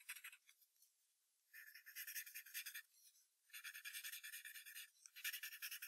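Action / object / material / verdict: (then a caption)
scrape / graphite pencil on paper sheet taped to hardboard clipboard / paper / none. A wooden graphite pencil draws short strokes on white paper taped to a hardboard clipboard, sketching below a drawn fox head. Dry, bright scratching comes in rapid rasping bursts, with three longer stretches of dense strokes after some lighter touches at the start and quiet pauses between them.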